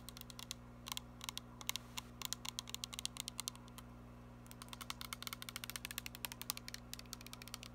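Long nails tap and scratch the printed label of a filled, glittery plastic body mist spray bottle, heard close up. Quick, sharp, bright clicks come in irregular bursts over a steady low hum, with a brief pause near the middle before the tapping picks up again.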